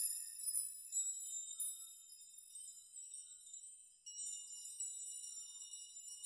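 Hands and fingertips sweep across a steel nail chime of many long hanging steel nails, making them jingle and rock. Quiet, bright metallic tinkling with sustained high ringing tones and no low end. The shimmer fades gradually, then a fresh sweep just past four seconds brings it back.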